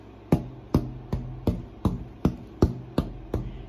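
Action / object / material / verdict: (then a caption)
tap / spruce guitar top / spruce / too thick. A torrefied Adirondack spruce guitar top is tapped ten times at a steady pace before thicknessing, each tap a short, dull knock with a faint low tone near 82 Hz that dies away almost at once. The tap tones are faint and not very musical, showing the top is not yet thinned enough.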